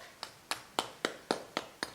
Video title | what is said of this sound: Crispy BBQ Pork Belly | you can hear if we tap the top we got nice crispy crackling